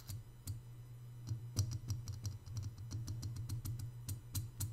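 A white glazed, hollow, hand-sized ceramic piggy bank resting on a marble table is tapped quickly on its sides and ears by both hands using short fingertips and nails. About twenty-one brisk, irregular taps come through as bright, short clicks that die away fast, over a steady low hum.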